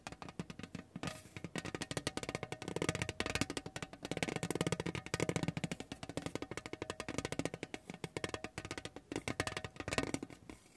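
A spiky rubber massage ball is rolled under the palm across a large, thin, painted lithographed tin tray. It makes a continuous stream of rapid, dry tapping rattles on the thin metal, with a faint tonal ring around 260 Hz and bright clicky edges. The bursts swell and ease for about eleven seconds.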